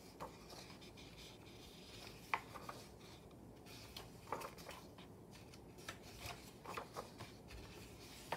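Fingertips and a palm rub across the glossy paper pages of an open Daphne's Diary magazine lying flat, turning them. A steady soft rustling hiss runs throughout, broken by about ten short, crisp paper ticks and snaps that stand out briefly above it.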